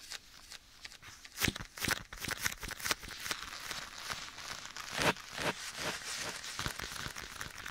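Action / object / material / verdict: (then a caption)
tap / leather glove / leather / none. A black leather glove worn on one hand is held against the right side of a microphone while bare fingertips scratch and tap the leather. The result is a run of bright, crinkly scratches and soft, irregular taps with an echo, with a few louder taps standing out.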